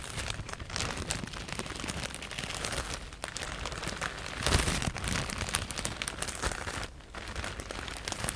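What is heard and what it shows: A medium-size clear plastic E-PACK bag, soft and full of white polyethylene foam cushioning pieces, is held in both hands and scratched and squeezed with long painted nails. It gives a dense, continuous crinkling and crackling rustle with a low rumble beneath. The sound swells at about 4.5 seconds and quiets briefly near 3 and 7 seconds.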